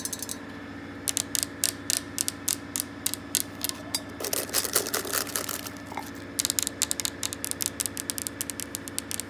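Long painted nails and fingertips tap and scratch directly on a solid, flat white and grey veined marble countertop. Quick bursts of bright, crisp clicks come with pauses between them, and a rougher scratching stretch falls in the middle. Each tap dies away almost at once over a faint, steady background hum.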